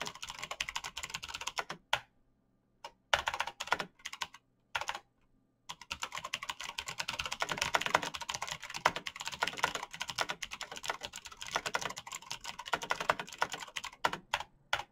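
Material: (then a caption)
Plastic. Fingertips type rapidly on the clicky keys of a black RGB mechanical computer keyboard with plastic keycaps. Dense bursts of sharp, bright, short clacks come in fast runs, with brief silent pauses near two and five seconds before the typing resumes steadily.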